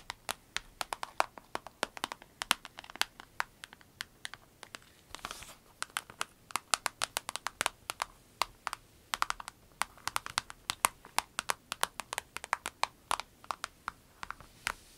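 Long nails tap and scratch the surface of a small, clear orange vinyl pencil case with pens inside, lying flat. Dozens of quick, dry, bright clicks come in an uneven rain-like patter with no ring, and a brief crinkly scratching passage sounds around the five-second mark.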